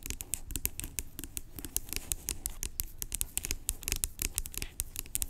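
Long acrylic nails tap the cap and scratch the body of a large, hollow, blue-labelled plastic pump bottle lying on its side. Quick, dry clicks with a bright top ring out over a low, hollow thump and soft scratching, each tap dying away almost at once.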